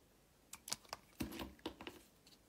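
A box-cutter blade slices thin layers off the surface of a solid, rectangular blue and white striped bar of soap held in the hand. Seven crisp, bright scraping cuts sound, each short and dry and set apart by quiet gaps.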